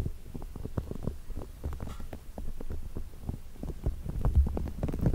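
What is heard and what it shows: Fingertips press, squeeze and rub the spikes of a small green soft rubber massage ball, probably hollow, held close in front of the microphone. The result is a steady stream of soft, muffled low thumps and rubbing crackles, almost all deep, low-pitched energy with no bright high end.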